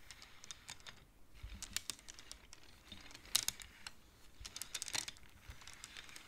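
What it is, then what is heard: Wooden abacus beads clacking. Both hands slide colored wooden beads along the metal rods of a large wooden-framed abacus using fingertips and nails. The result is an irregular run of quiet, bright, short clacks and clicks with almost no ring, with soft sliding rustle between them.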